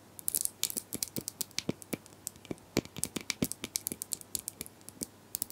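Plastic brushes are tapped and scratched in a rapid, uneven series of short, crisp clicks with bright, bristly high-frequency texture. Each tap dies away almost instantly, with faint scratchy rustling between them.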